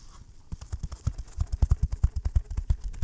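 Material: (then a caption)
Cardboard. Fingertips and short nails scratch and tap the textured lid of a small, hollow, closed rectangular green baoding-ball box, likely cardboard covered in green-and-gold brocade fabric, held in one hand close to the mic. After a faint half-second of soft scratching, a quick, uneven run of dull, low, muffled taps follows with no ring.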